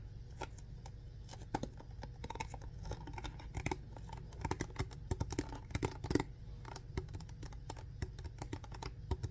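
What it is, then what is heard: Empty plastic water bottle. Fingertips and nails tap and scratch a clear plastic alkaline water bottle with a blue diamond-shaped cap, hollow and apparently empty. Quick, dry, clicky taps and scraping ticks come in uneven bursts over a steady low rumble, each dying away almost instantly.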